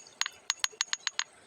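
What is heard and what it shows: An ordinary flat river stone is tapped 7 times, each a short, dry, high-pitched click that dies away almost at once. It is tapped for comparison and sounds duller than the similar-looking stone that rings like iron.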